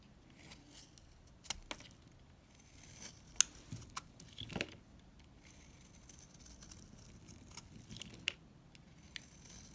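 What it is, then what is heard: Dry bar soap being shaved. A solid, dried green bar soap is scraped and shaved with a utility knife blade, producing crumbly shavings. Quiet, dry, bright scratching and crisp crumbling ticks come with a few sharper clicks over a faint background hiss.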